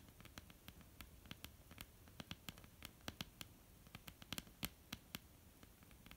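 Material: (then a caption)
Wood. Long almond-shaped painted nails tap and scratch a flat, solid wooden tabletop. A quiet, irregular run of sharp, dry, bright clicks sits over a soft scratchy rustle, with each tap dying almost instantly and leaving no ring.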